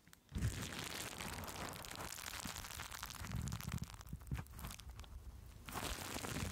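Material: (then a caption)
Plastic. Green plastic bubble wrap laid over a microphone is crinkled, pressed and scratched with fingers and long nails. After a brief quiet start, a dense, steady stream of crackling and rustling follows, with bright scratchy texture over heavy low, close-up thumps from the pressing. The sound eases slightly near the end before a final burst of crinkling.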